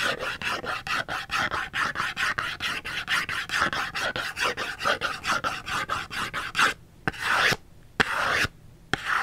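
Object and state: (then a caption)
Cardboard soap box scratched with fingernails. Fingernails scratch a small printed cardboard soap box, held upright, on its barcode side. About 30 quick, dry rasping strokes run in a steady rhythm for roughly six and a half seconds, bright and papery with a focus near 1.7 kHz. A few longer, separate scrapes follow with short silences between them.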